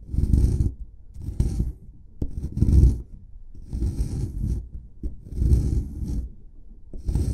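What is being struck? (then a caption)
Plaster block scraped with a metal pick. A flat metal chisel pick scrapes at the dug corner of a solid white plaster excavation block in repeated strokes. Each stroke is a gritty, low-heavy rasp with a faint bright hiss, separated by short pauses.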